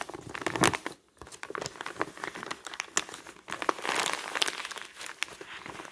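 Both hands crumple and crinkle a large, flat, thin glossy newsprint advertising flyer with their fingertips; the sheet is already crumpled and spread on a table. The result is a steady stream of dry, bright crackles and crinkles, with a short near-silent pause around the one-second mark before the handling resumes.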